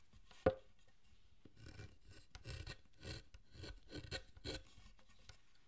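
A gouge cuts and scrapes the wood around the head of a solid carved wooden Buddhist statue of Zōchōten. A single sharp, ringing tick comes first, followed by a series of dry, rasping scraping strokes with low, thumpy body and faint bright hiss, each stroke separated by brief quiet.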